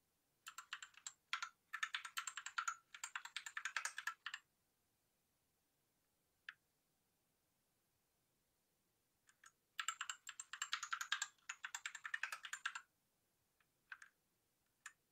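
A white Rexus Daiva south-facing 65% 68-key mechanical keyboard with a plastic case and RGB lighting is typed on with the fingertips of one hand. Rapid bursts of sharp, bright clacks, centred near 1.6 kHz, alternate with pauses and a few isolated single key presses. Each click dies away almost instantly, with no low-end thump.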